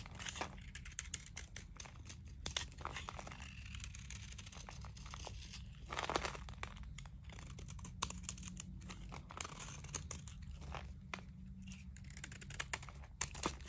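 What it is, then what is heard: Dry bar soap being shaved. A small knife blade scrapes and shaves crunchy curls off a hand-sized bar of dry, crumbly painted soap held in the palm. Dense crisp scraping and crackling runs throughout, with bright, sharp transients over a steady low hum.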